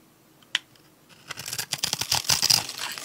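A metal utility-knife blade scrapes and cuts across the pre-scored grid of a solid, palm-sized, pink and white striped dry soap bar held in the hand, flaking off small cubes. A single sharp tick is followed by a quiet pause, then a dense run of crisp, bright, crackling scrapes and snaps that grows louder toward the end.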